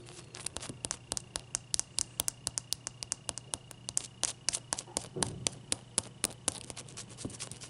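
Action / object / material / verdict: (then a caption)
tap / ice cube / ice / none. Long nails tap and scratch a large, clear, solid ice cube held in both hands, making a quick, uneven run of sharp, bright clicks that die out almost instantly. Softer scraping fills the gaps between taps, over a low steady hum and a faint constant tone.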